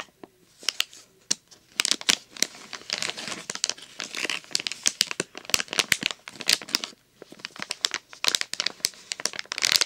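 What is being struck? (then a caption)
Thin plastic blister package. A flat, thin plastic blister package with a foil backing, holding glow sticks, is held in both hands and crinkled and squeezed with fingertips and short nails. Dense, bright crinkling and crackling comes in irregular bursts with sharp high snaps and almost no low end, pausing briefly around the seventh second before resuming.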